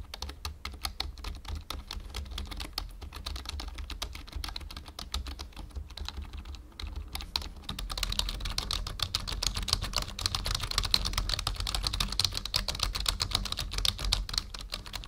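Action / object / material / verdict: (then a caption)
tap / plastic membrane computer keyboard / plastic / none. Fingertips type on the numpad and letter keys of a full-size black plastic membrane computer keyboard. Quick, uneven, closely packed clicks carry a low thumping body. Around the midpoint the typing grows louder and brighter.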